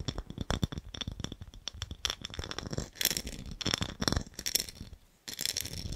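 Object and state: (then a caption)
Small ribbed glass jar. Fingernails tap and scratch a small, empty, hollow clear ribbed glass jar with a gold lid close to the microphone. Quick, dense clicks and rattling taps with a high glassy ring give way to longer scratching strokes. The scratching pauses briefly near the end before it resumes.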